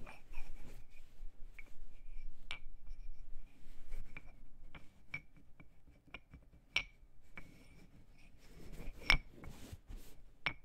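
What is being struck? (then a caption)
Pair of wooden claves. A pair of solid, cylindrical LP Aspire wooden claves lying on a cloth is tapped with the fingertips and fingernails. The result is a scattered run of short, dry clicks and taps with a faint woody ring near 2.2 kHz, over a soft low rumble. Denser, brighter clusters of tapping come near the end.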